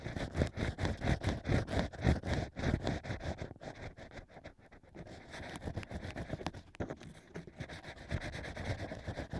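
Two thin bamboo ear picks, held by fingers, scrape and scratch inside the hole of stacked hollow cork rings fitted into the ear opening of a plush binaural microphone ear. Rapid, dull, low-heavy scraping strokes come about four times a second, louder at first. They dip quieter around the middle, then continue as steadier, softer scratching.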